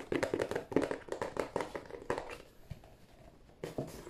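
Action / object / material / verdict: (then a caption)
tap / cardboard tissue box / cardboard / none. Fingertips of both hands tap on the end panel of a hollow, glossy cardboard tissue box. A rapid run of short, hollow, low-midrange thumps with a papery brightness fills the first half. The taps thin out to softer, sparser ones, then a louder flurry returns near the end.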